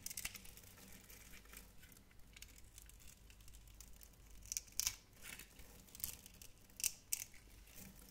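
A metal knife blade cuts a grid into a hand-sized, solid, translucent pink glycerin soap bar held in the hand and scrapes off small cubes. The result is quiet, crisp, high-pitched scratching and carving strokes, with sharper, louder scrapes clustering in the second half.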